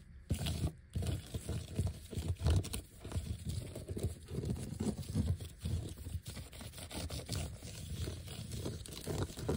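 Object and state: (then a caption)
Vinyl letter sticker sheet. Fingertips and nails scratch and tap across a large, flat, thin, solid black glossy vinyl sheet covered with white letter stickers. The sound is a steady run of soft, dull, crunchy scrapes and quick taps, mostly low and muffled with very little brightness. Each tap dies away almost at once.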